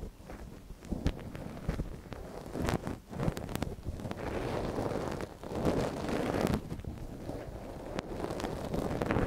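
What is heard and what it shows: A thin wooden ear pick scratches inside the canal of a small, hollow white silicone dummy ear on a binaural microphone, worked by gloved hands. It makes close, crackly rustling and scraping with sharp clicks, mostly low in tone, rising and falling in intensity.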